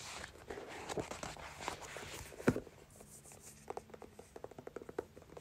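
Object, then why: Paperback book with paper pages and card cover. A thick paperback book with paper pages and a card cover is held in both hands while long nails scratch and tap the cover and fingertips fan and flick the pages. Dense, dry rustling and scratching fill the first half, broken by one sharper tap, then a quieter run of quick, crisp clicks and flicks follows.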